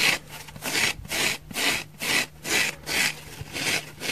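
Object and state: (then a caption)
Dry foam sponge. A dry orange oval foam sponge, held in both hands, is scratched with long fingernails across its face and thick side. The result is a steady rhythm of dry, bright rasping strokes separated by short pauses, with almost no low end.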